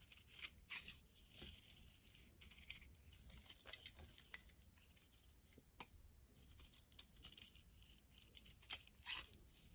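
A solid yellow bar of soap held in the palm is shaved and scraped with a utility blade, the curls piling up. Quiet, bright, crisp scraping and rasping strokes follow one another in quick, uneven bursts with almost no ring.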